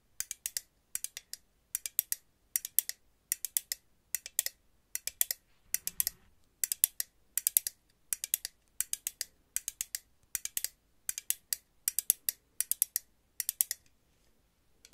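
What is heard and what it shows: A purple and green metal aerosol hairspray can with a hollow metal body is held at the top of a microphone and tapped rapidly with long nails tipped with paper clips. The taps come in quick bursts of sharp, bright clicks with almost no ring or low end, and a soft low thud around the middle.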